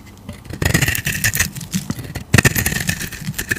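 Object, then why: Bar of soap scraped with a knife blade. A utility knife blade scrapes curled shavings off a solid oval tan bar of soap held in a hand with teal nails. Rough, crackly scraping comes in two longer passes with a short pause between, a bright hiss over a low, gritty rasp.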